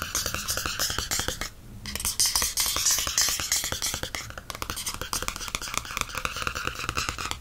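Fingertips tap and scratch the glossy cardstock back cover of a softcover paperback book held in hand. Quick, irregular, bright taps and scratchy strokes run almost continuously, with a brief quieter lull early on before the tapping resumes.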